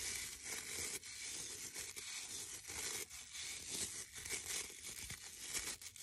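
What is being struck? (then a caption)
Wooden brush with stiff bristles. Fingertips and nails scratch and rub along the dark stiff bristles and wooden edge of a hand-sized brush with a reddish-brown wooden back. The result is a steady, dense, bright crackling hiss, almost all high-frequency with a band around 2.2 kHz, that swells and dips with the strokes and has almost no low end.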